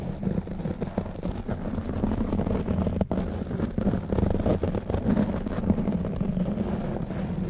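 Fingertips of both hands continuously scratch and rub a black foam-covered microphone windscreen. The result is a steady, dense, low rumbling scratch with a hum near 215 Hz, broken by quick soft scuffs and almost no high-end content.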